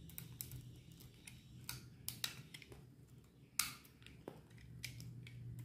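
A solid white bar of dry soap held in the hand is shaved with a metal utility knife blade into flakes. Short, dry, crisp scraping clicks come at an uneven pace, with bright edges over a quiet low hum.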